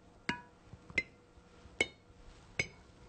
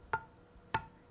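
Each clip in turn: First: sealed canning jar lid. Second: unsealed canning jar lid.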